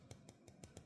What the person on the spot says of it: this is metal can hear the solid sound right